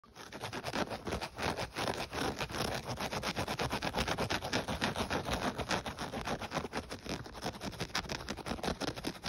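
Fingertips and short nails scratch and tap quickly across the black knit-mesh upper of a black-and-white athletic shoe, its hollow body lying on a dark blanket. A dense, steady run of rapid, dry scratching taps continues throughout the clip, with a soft hollow thump under the rasp.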